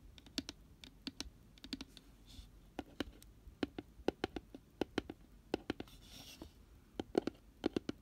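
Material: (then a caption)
Cardboard. Fingernails tap and scratch the white-paper-lined bottom of an open, empty, round cardboard box with a pink rim. About 31 short, dry, clicky taps come in quick irregular bursts, each dying away almost instantly. Soft, bright scratching swishes fill the brief gaps between them.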